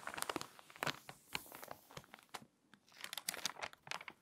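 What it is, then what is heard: Water-damaged glossy magazine. A hand with long nails turns a page of an open, water-damaged glossy paper magazine and presses along its spine. Bright, crisp crinkles and crackles come in quick bursts with a brief lull midway, and each snap cuts off almost instantly.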